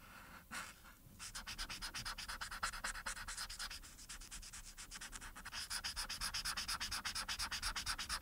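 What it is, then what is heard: Marker rubbing on a paper coloring sheet. A marker's felt tip, held in the fingers, rubs back and forth over the face area of a thin printed paper coloring sheet lying flat. Quick, bright, scratchy strokes repeat about three times a second, with a faint hiss under them. The strokes grow louder and more even toward the end.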